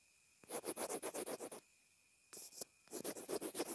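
A pencil point scribbles over a small white plastic inline earphone remote/mic, making rapid, dry, bright scratching strokes in quick bursts of about four per second. One burst runs for about a second, followed by a pause and a brief scrape, then a second burst. A faint steady tone hums underneath throughout.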